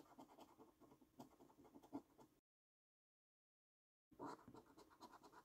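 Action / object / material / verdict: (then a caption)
scrape / paper lottery scratch card with scratch-off coating, coin / paper / none. A coin held in the fingertips scratches the coating off a thin, flat paper £15 National Lottery Luxury Lines scratch card. Soft, rapid, gritty scraping strokes run for about two seconds, stop for a stretch of dead silence, then start again with a slightly louder burst. The scraping stays quiet and close, centered in the low-mid range.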